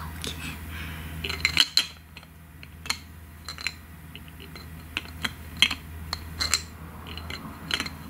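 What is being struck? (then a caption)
Small glass bottle with plastic cap. Long nails tap and click on a small, thick, clear glass serum bottle with a white plastic cap, partly filled with liquid containing gold flakes. The result is a series of short, bright, high-pitched clicks and taps with very little ring, spread unevenly over the clip above a faint low hum.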